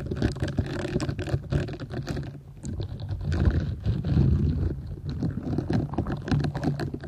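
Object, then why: Silicone scrubber sponge. Long nails scratch and rub across the soft bristles of a flat, square purple silicone scrubber sponge, solid and flexible, held over the microphone, with another sponge possibly sitting partly hidden underneath. The sound is a dense, continuous run of quick scratchy, crackling strokes over a heavy low rumble, rising and falling in loudness without pause.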